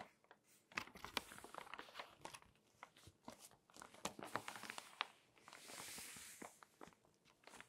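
Fingertips and long nails rub across the photo spreads of an open glossy paper magazine as its pages are turned. Quiet, bright crinkling and sharp little ticks and scratches come in a steady scatter, with a soft, airy swish of a sliding page near the end.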